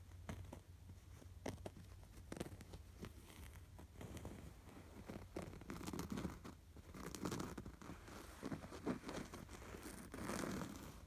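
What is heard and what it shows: Fingernails scratch across a soft, stuffed cream canvas throw pillow with a red appliqué sweater, running over the fabric and its stitched details. The result is quiet, dry scratching and crinkly rustling with soft, muffled taps, swelling in brief bursts.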